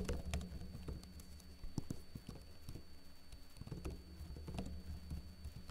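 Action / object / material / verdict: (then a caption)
tap / plastic laptop keyboard / plastic / none. Fingertips with short blue-painted nails type lightly on a backlit plastic laptop keyboard with hollow keycaps. Soft, quick, clicky key taps with very short decay come in uneven bursts over a steady low hum, and the whole clip stays quiet.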